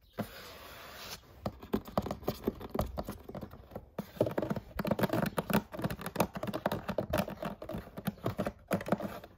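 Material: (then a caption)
Cardboard. A large printed cardboard gift box holding a glass jar set is held upright and tapped and scratched along its face and edges with long nails. A brief soft scratchy rustle gives way to rapid, dull, dry taps mixed with scraping strokes that die away almost instantly, with no ring.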